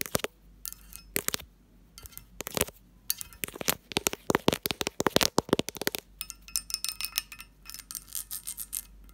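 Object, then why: Cut-glass lidded dish. Long nails and fingertips tap the textured sides and lid of a hollow cut-glass lidded dish. The result is a rapid, uneven run of bright, clinking glass taps with very short ring. The taps cluster densely in the middle and thin out toward the end.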